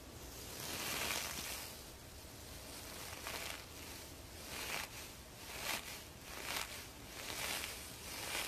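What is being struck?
Nothing is struck.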